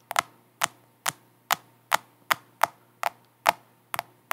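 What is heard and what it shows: A large, solid, flat black smartphone in a black plastic case, held upright in both hands near the microphone, is tapped and scratched with long acrylic nails on its back and sides. Twelve sharp, dry, bright clicks land at a steady pace of about two per second, each decaying almost instantly. A faint low hum sits underneath.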